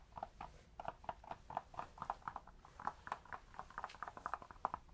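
A cork object is tapped close to a binaural microphone, producing a quick series of soft, hollow clip-clop taps. The short, dry clicks center around 1 kHz with little low or high content.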